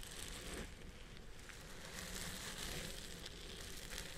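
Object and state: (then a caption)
Synthetic fiber wig being scratched. Fingertips and nails on one hand scratch the fibers on the side of the crown of a purple synthetic wig set on a head form. The result is a steady, quiet, crackly rustle with bright scratchy texture over a low rumble.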